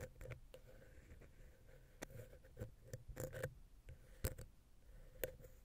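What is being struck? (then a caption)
Metal microphone capsule and wooden ear pick. A wooden ear pick, held vertically, scratches and taps down into the gap between the capsules of a silver metal X/Y microphone head on a Zoom H6. Soft, dry scraping runs under irregular sharp clicks and dull low thumps, with a faint steady tone in the background. Each tap stops almost instantly with no ringing.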